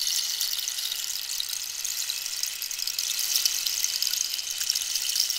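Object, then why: Hollow dried cactus rainstick. A long, hollow dried-cactus rainstick with a holed surface is held diagonally while long pink nails tap and scratch its wood. It makes a steady, bright, rain-like hiss with no low end and faint scattered ticks throughout.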